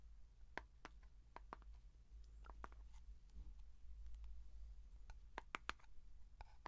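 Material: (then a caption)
Plastic. Fingertips and nails tap on the closed blue plastic lid and the side of a small plastic Vaseline petroleum jelly jar. The result is a quiet run of short, dry clicks and ticks, centered around 1.2 kHz with bright edges, scattered unevenly over a steady low hum.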